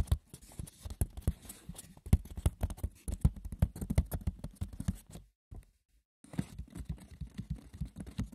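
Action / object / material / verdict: scrape / woven wicker basket / wicker / none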